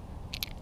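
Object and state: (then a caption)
Lipless crankbait with a single internal weight. An Excalibur One Knocker, a gold-chrome plastic lipless crankbait with a single large internal weight, is held by its hooks and shaken. Instead of a busy rattle, a brief, bright clack sounds over a low background rumble. This quieter knock suits lethargic winter fish.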